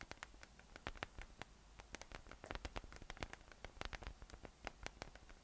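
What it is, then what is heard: PVC spiky massage ball. A yellow, hollow, inflated PVC spiky massage ball with nubs rests on a table and is tapped and rubbed on top with the fingertips. The result is a quick, irregular run of soft, dry clicks and taps that die away almost instantly, over a faint low hum.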